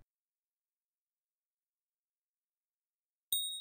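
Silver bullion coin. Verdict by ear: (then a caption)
Genuine. A silver eagle coin is tapped once, giving a bright, high-pitched ring that starts after about 3.3 seconds of silence and sustains near 3.8 kHz with overtones. Its resonance frequencies match those expected for a genuine silver eagle, confirming it is real.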